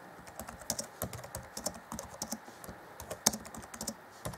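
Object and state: Plastic laptop keyboard.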